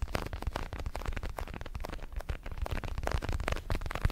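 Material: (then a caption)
Synthetic leather. Fingertips tap and scratch across the surface of a large red synthetic leather boxing glove, hollow with foam padding and held in both hands. The result is a steady, dense patter of soft, dull, low thumps with quick decay, layered with faint scratchy rustling.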